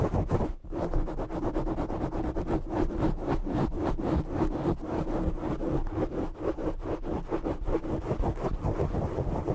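Short nails scratch the sides and top of a black foam microphone windscreen, making a dense, rapid, rustling scrape that runs steadily through the clip. The sound is close and muffled, heavy in the low end with a faint hum-like tone, and has almost no bright content.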